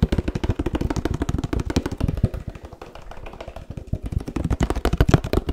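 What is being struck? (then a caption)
Laminated paperboard drink carton. Fingertips rapidly tap a 1-litre laminated paperboard oat milk carton held up close, producing a dense run of quick, dull thuds. The taps are low and muffled with almost no bright content and die away instantly, easing off briefly in the middle before picking back up.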